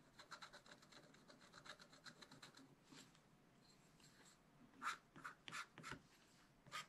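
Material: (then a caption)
Coated paper. A wooden stick stylus scratches and rubs away the coating of black coated scratch art paper in a small spiral pad with short strokes. A quick run of soft, dry, bright scratching strokes gives way to a quieter stretch of light rubbing, then several louder, sharper scratches near the end.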